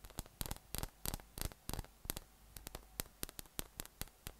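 A yellow, hollow, air-filled inflatable PVC massage ball with nubs is held up in one hand and tapped from below with the fingertips. About twenty short, dry, hollow taps land in an irregular rhythm, some in quick pairs, each with a bright click that dies away almost instantly. A steady low hum sits underneath.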